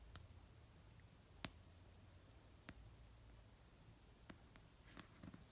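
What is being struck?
Paperback book.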